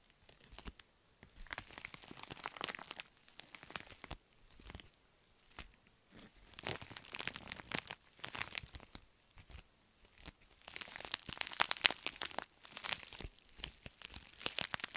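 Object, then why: Foil-lined padded envelope. A wrinkled pink metallic foil padded bubble mailer is crumpled by hand and scratched with long nails. Bursts of bright, crisp crinkling and crackling come in uneven waves with brief pauses, and the sharpest, densest crunching arrives near the end.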